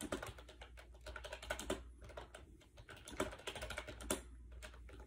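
Fast fingertip typing on a compact gray plastic AJAZZ 308i wireless Bluetooth keyboard with round white keycaps, resting on a bed. The hollow plastic keys give a rapid run of short, clacky clicks with a few louder strikes, over a steady low hum.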